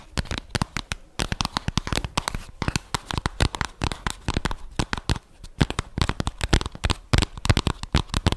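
Long dark-painted fingernails tap and scratch rapidly across a closed, hand-sized, flat rose-gold cardboard eyeshadow palette case held in both hands close to the mic. Dry, clicky taps with a low, hollow thump come in dense bursts, mixed with bright, crinkly scratching. Each hit stops almost instantly with no ring, and short quiet gaps separate the bursts.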